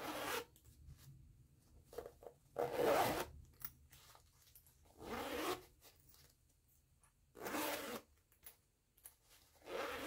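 Fingers with long nails pinch the pull of a green nylon zipper on a small floral canvas pouch and zip it back and forth. Several raspy, bright zipping strokes of about half a second each are separated by quiet pauses with faint small clicks and rubs. The sound is soft and close, with little low end.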